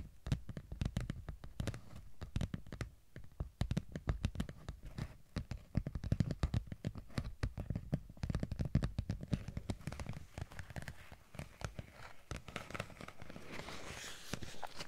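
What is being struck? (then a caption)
Thin textured vinyl sheet. A thin holographic vinyl sheet with a raised, sparkly texture is held close to the microphones and scratched and tapped with long nails. It makes a dense run of quick, soft, dull taps and scratchy rubs, heavy in low thumps with almost no ring. Toward the end the scratching becomes a steadier, brighter hiss.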